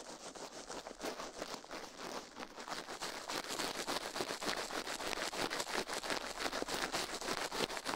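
A toothbrush rubs and brushes across the silicone ear of a binaural microphone, making fast, dense scratchy strokes. The bristly, crackling texture repeats in quick, uneven bursts and grows slightly louder and brighter toward the end.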